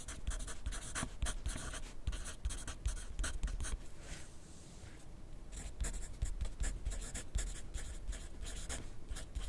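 A graphite pencil scratches across a thin lined paper notepad lying flat on a desk in continuous writing. Quick, bright, papery strokes come in dense bursts, easing into a softer, quieter stretch midway before the brisk scratching resumes.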